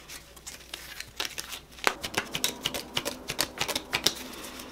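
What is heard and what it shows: A full deck of coated paper playing cards with purple foil backs is held in both hands while fingertips riffle, split and cut the packets in a cardistry flourish. The cards flick and snap against each other in a quick, uneven run of short, bright clicks that grow crisper and louder partway through, with a soft papery rustle between them.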